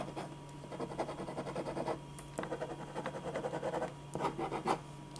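A black pen makes dense, repeated scratching strokes across a single thin white sheet of drawing paper lying flat on a dark board. The quick, dry scratches come in three bursts separated by short pauses, over a steady low hum.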